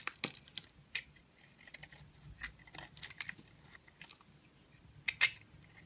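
A utility knife blade shaves the surface layer off a solid pink oval bar of soap with dark hearts and a lilac interior, held in fingers with long glittery pink nails. About ten crisp, bright scraping crackles and ticks sound, each dying away almost instantly, with the last one loudest over a faint low background.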